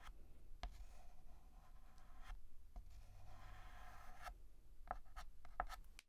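A stick of white chalk scratches across a large, flat, black painted blackboard as a hand writes on it. Soft, continuous scraping strokes are broken by a few sharp, brief taps and squeaks, all over a quiet low background hum.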